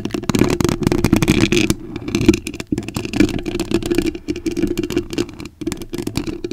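Long acrylic nail tips scratch a white foam microphone cover, making a dense, close rustling and crackling scrape with a muffled, low-mid body. The scratching runs almost continuously in quick strokes, easing briefly near the 2-second mark and again near 5.5 seconds before resuming.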